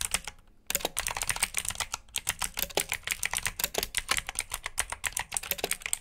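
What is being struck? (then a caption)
Plastic mechanical keyboard. Fingertips type rapidly on a black plastic backlit mechanical keyboard with blue switches, producing a dense stream of sharp, bright clicks. The clicking pauses briefly near the start and again around two seconds. Each keystroke dies away almost instantly.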